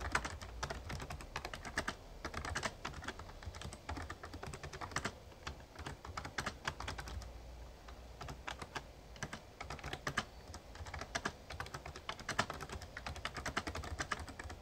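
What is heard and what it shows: Fingertips type steadily on the keys of a full-size backlit plastic Razer Ornata Chroma mechamembrane gaming keyboard. The result is a fast, continuous run of short, crisp clacks with a bright edge and almost no ring, over a low, steady rumble.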